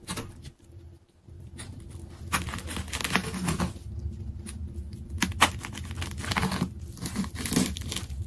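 A large layered plastic tape ball is cut with a craft knife, then its layers are peeled apart by fingertips. Sticky tearing and crinkling come in irregular bright bursts of crackle over a steady low rumble, with a brief quiet pause near the start before the peeling grows louder and denser.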